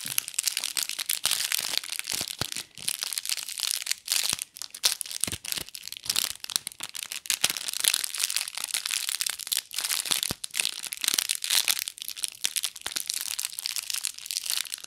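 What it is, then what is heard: Foil-wrapped gift box ornament. A small gold foil-wrapped gift-box ornament is held in both hands in front of a microphone while long nails scratch and crinkle its foil surface. The result is a continuous, dense, bright crinkling with quick crackles and scratches. There is almost no low end, and nearly all the energy sits in the high range.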